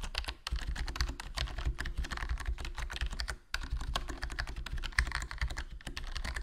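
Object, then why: Plastic membrane keyboard. Fingertips type continuously on a HyperX Alloy Core RGB plastic membrane gaming keyboard with a foam mod, black plastic body and black plastic keycaps, and a hollow case. The result is a fast stream of short, soft-thudding keystrokes with a low, muffled body and little ring, pausing briefly in the middle.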